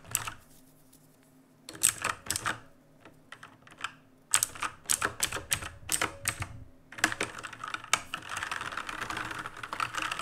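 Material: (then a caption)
Plastic. Fingertips type rapidly with both hands on an RGB-lit black mechanical keyboard with plastic keycaps. Bursts of sharp, bright plastic clacks come in quick clusters separated by short pauses. The typing turns into a denser, continuous clatter near the end.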